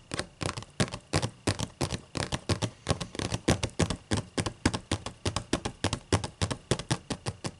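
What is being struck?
Open paper book pages.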